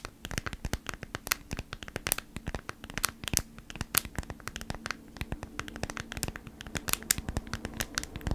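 Long nails scratch and tap the stiff surface of a folded beeswax-coated cotton food wrap held in both hands. The result is a dense, rapid run of sharp, bright clicks and crinkly scratches that stop almost instantly, over a faint steady low hum.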